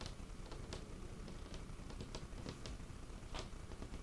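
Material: Wood.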